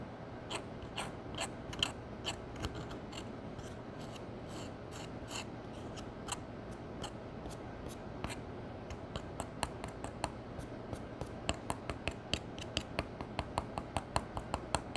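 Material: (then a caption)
Pressed powder. A metal spatula scrapes at a pale pressed powder eyeshadow pan in a palette, breaking it up into flakes. A rapid series of short, crisp scratchy clicks with bright edges sounds over a steady low hum, the crumbling powder giving a dry, gritty texture.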